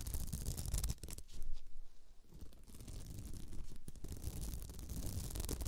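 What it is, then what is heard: Beaded placemat being scratched. Both hands scratch a round beaded glitter placemat with radial stitching, lying on the microphone, using long nails. The result is a dense, rough scraping with a heavy low rumble and a bright, gritty edge. It eases into a quieter patch partway through, then builds back to steady scratching.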